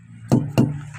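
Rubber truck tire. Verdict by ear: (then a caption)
Inflated. Truck rubber tires are knocked from the side rather than head-on, since a tire can burst toward whoever stands in front of it. Two short, dull, low thuds follow one another with little ring. The knocks sound the same, showing the tires are evenly inflated.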